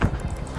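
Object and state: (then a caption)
Hollow trailer wall, no load behind. A knock on the metal wall of a wrecked semi-trailer, struck to find where the freight sits inside without opening the doors. It gives a low, hollow boom that dies away quickly. The hollow sound means no load is against the wall at that spot.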